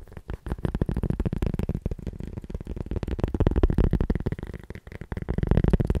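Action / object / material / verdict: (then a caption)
tap / cork coaster / cork / none. A round, flat, solid cork coaster about palm-sized is held in one hand and tapped and scratched with the fingertips and nails of the other hand. The result is a rapid, continuous flurry of soft, dull taps and scratchy rustles that are heavy in the low end and die away almost instantly, with loudness rising and falling in waves throughout.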